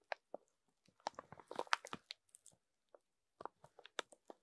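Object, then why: Foam sponges wrapped in thin plastic film. A row of rainbow foam sponges wrapped in thin clear plastic film lies on a table while a wooden stick and then fingertips scrape and rub along the film. Quiet, dry crinkling and crunchy crackles come in short, sharp bursts, busiest in the middle and thinning to scattered snaps toward the end.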